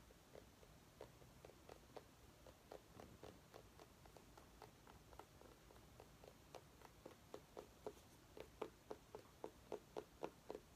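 A small orange mini pumpkin held in the hands is tapped and scratched with long nails, giving quiet, short, hollow knocks with a mid pitch and a faint scratchy texture. The taps come in an uneven patter that grows louder and more distinct toward the end.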